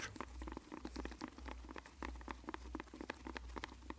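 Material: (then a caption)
Cardboard. A long, hollow white and blue printed cardboard medicine box with a barcode is held in both hands and tapped and scratched with latex-gloved fingertips. The result is a quick, soft, dry patter of short clicks and scratches with no ring, over a steady low hum.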